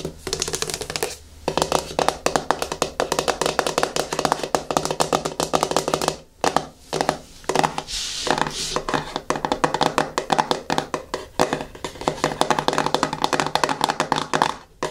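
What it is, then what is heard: Plastic cosmetic jar. Long fingernails tap quickly on the screw lid of a medium yellow plastic hair-mask jar resting on a table, then scratch around the lid's edge. Dense, dry, hollow plastic clicks with a short ring and a bright, crackly edge are broken by a few brief pauses.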